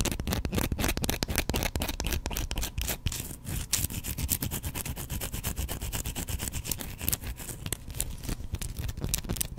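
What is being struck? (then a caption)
Bar of soap. Fingernails scratch a solid, hand-sized white bar of soap held in one hand. Quick, uneven strokes make a dense run of short, dry scrapes, about four a second, each with a bright hiss over a low rumble. The scratching keeps going steadily for the whole clip.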